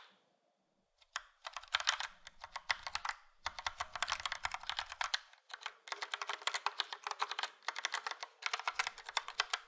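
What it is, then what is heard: Plastic mechanical keyboard. Fingertips of both hands type on a full-size plastic Logitech POP Keys mechanical keyboard with a yellow frame and round dark grey and light grey typewriter-style keycaps. After about a second of silence, fast runs of bright, sharp clicks begin, each keystroke dying away almost instantly. The clicking comes in dense bursts separated by brief pauses.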